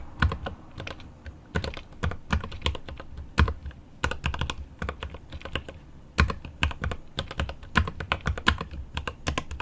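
Both hands type with their fingertips on the plastic keycaps of a mechanical keyboard with an aluminum case, producing a steady, uneven stream of quick keystrokes. Each press lands as a short, deep thock with a bright click on top that dies away almost instantly, with occasional harder, louder strikes.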